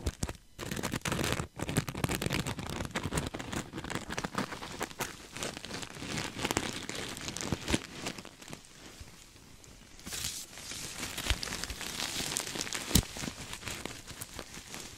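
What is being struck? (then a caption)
Sequin-covered stuffed fabric pillow. A soft, stuffed cream sequin throw pillow is held next to the mic and scratched with nails and fingertips, with some squeezing. Dense, crinkly scratching and clicking of the sequins fill the clip over a low, muffled rustle. The sound eases into a quieter stretch around the middle, then returns as a brighter, hissy scratching.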